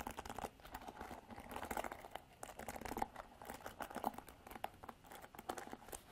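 Long black artificial nails scratch and strum across the black plastic bristles of a handheld Revlon paddle hairbrush with a white and silver plastic body. The result is a dense, crinkly run of quick, dry plucks and scratches with a faint recurring tone near 800 Hz, each stroke dying away almost instantly.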